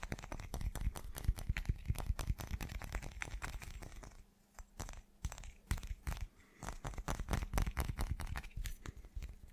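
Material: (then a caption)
Glass. A solid, irregular chunk of translucent teal glass is held close to the mic and tapped rapidly with the fingertips and short nails. The result is a dense, uneven run of quick, dry taps: mostly deep thuds with faint bright clicks, each dying away almost instantly. The tapping eases to softer, sparser taps around the middle before picking back up to the end.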